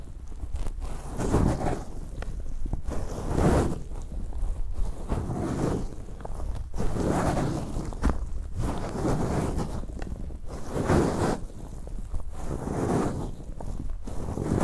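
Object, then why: Foam microphone windscreen. Both latex-gloved hands cup a fist-sized, soft and spongy black polyurethane foam windscreen on a Zoom H5 recorder, slowly squeezing and rubbing it. This produces deep, muffled rumbling and rustling that swells and fades in repeated waves, with the energy concentrated in the low end and almost no high content.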